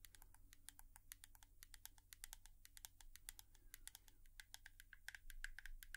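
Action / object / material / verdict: tap / plastic hairbrush / plastic / none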